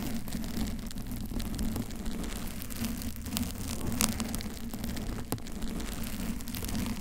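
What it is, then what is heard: Foam microphone cover being scratched. Long pink and blue nails on both hands scratch the lower body of a soft, porous, pink teddy-bear-shaped foam cover over a silver microphone, while a blue-covered mic nearby is left untouched. The result is a steady, dense rustling and scratching with a heavy low rumble and a faint tonal hum, dotted with brief, bright crackling ticks. It sounds much like rain hitting a surface.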